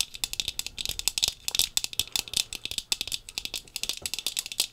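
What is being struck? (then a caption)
Sunglasses lenses with a thin frame. Long pink fingernails rapidly tap the lenses of brown-tinted sunglasses with a thin frame, worn on the face. About thirty quick, sharp, bright clicks sound almost entirely above 2 kHz, each dying away at once with no lingering ring.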